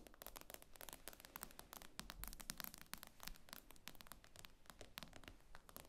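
Long acrylic nails tap and scratch the glossy glass screen of a tablet lying flat on a table. Rapid, dense clicks with sharp, bright attacks die away almost instantly, mixed with faint scratching over a low background rumble.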